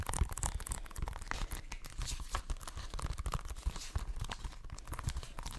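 Fingertips and nails scratch and tap the front and edges of an Xbox One game case, a hollow plastic case with a printed cover sleeve. A steady run of dry, crinkly scratching is dotted with quick, dull taps that carry a soft low thump and stop almost instantly.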